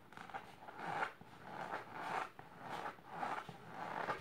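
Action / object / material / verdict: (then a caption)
scrape / fabric-covered storage box / fabric / none. Long silver nails scratch the fabric of a large pink patterned fabric-covered storage box or ottoman. The result is a soft, rasping scratch that rises and falls in slow, uneven swells, centered in the midrange with a little brighter hiss on top.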